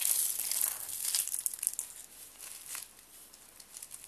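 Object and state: Dry soap sheets snapping and crunching.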